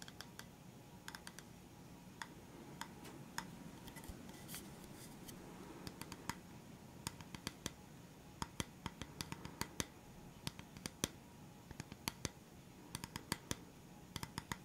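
Fingertips and nails tap a flat, round bamboo wooden stand with black feet, held upright close to the microphone. Dozens of short, dry, bright clicks come in irregular bursts, dying away almost instantly, over a quiet, steady low hiss.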